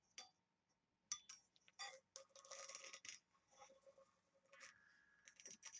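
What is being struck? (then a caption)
Small engraved brass box. Long nails tap and scratch the lid of a small, hollow, oval, embossed and engraved brass box while it is held at different heights. The result is quiet, bright, metallic clicks and scraping bursts with very little low end and only a brief ring after each tap, separated by short pauses.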